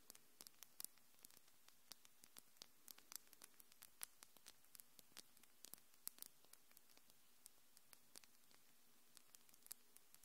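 Long, glittery acrylic fingernails, hard and solid, are tapped and clicked against each other by both hands close to the microphone. The result is a rapid, irregular stream of short, sharp, bright clicks with no ring, over a faint steady hiss.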